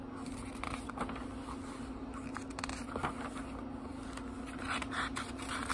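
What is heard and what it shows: Fingertips flip through the paper pages of a small book held partly lifted off a table. Soft rustles and quick papery flicks come one after another over a steady low hum.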